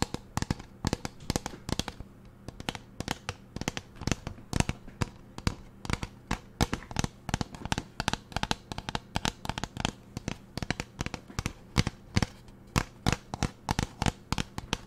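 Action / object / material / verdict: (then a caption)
tap / plastic pump bottle / plastic / none. Long nails tap the sides of a large, hollow teal plastic pump bottle with a label, making a steady run of short, dry clicks and knocks. The taps sound hollow and thuddy, with no ring after each one, over a faint low hum.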